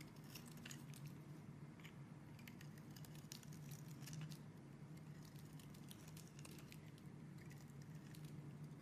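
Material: Soap.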